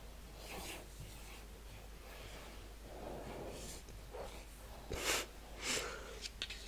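A large, flat 12-inch cardboard Fleetwood Mac Rumours LP sleeve is held up in both hands and rubbed and scratched with long painted nails. Soft, airy swishes of rubbing come first, followed by a few sharper, brighter scratches near the end.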